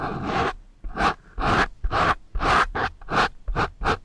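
Two pencil erasers with metal ferrules scratch and rub against the same foam microphone windscreen. The result is a string of short, rough scratching bursts with a broad, muffled midrange texture, soft low thumps and brief gaps of quiet between strokes.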